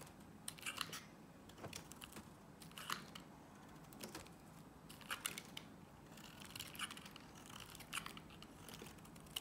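A box-cutter blade carves thick curled shavings from a palm-sized solid green Nivea soap bar held in one hand, while a blue soap bar lies unused nearby. Short, bright scraping crunches come in quick bursts over a low, steady background hiss. Each cut dies away almost instantly.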